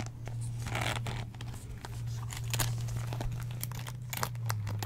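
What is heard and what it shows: Long nails scratch the textured surface of a beige croc-embossed pleather (faux leather) wallet as it is turned in the hands. Dry, crinkly scratching bursts with brief bright ticks sit over a steady low hum that runs throughout.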